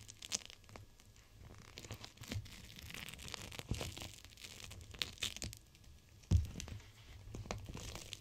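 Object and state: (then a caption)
Plastic gel-bead cold pack. A clear plastic pouch full of teal gel beads, a gel-bead cold pack, is pressed and rubbed against glass by fingertips with long nails. It gives soft, irregular crinkling and crackling with low rubbing thumps. A louder squeeze stands out near the middle of the clip.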